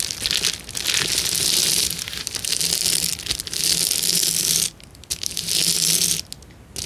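Fingertips press and scratch a clear plastic bubble wrap sheet, making dense, bright crackling clicks and rustles concentrated in the high range. The crackling runs in steady bursts, with a brief near-silent pause around the five-second mark and a drop-off near the end, over a faint low hum.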